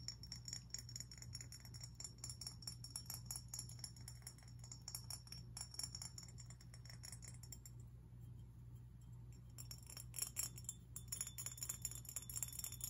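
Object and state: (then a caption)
Glass fish figurine. A glass fish figurine is tapped and scratched, giving quick, bright clinks and chime-like glass rings over a low steady hum. The taps come densely and die away almost at once. Near the end they grow busier and sharper.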